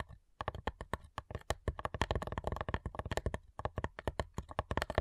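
Long nails tap rapidly on the lid of a flat, hollow cigar box made of light wood, giving about thirty short, dry clicks with a low hollow thump beneath each one. The taps come in quick bursts separated by brief pauses, and each dies away almost instantly.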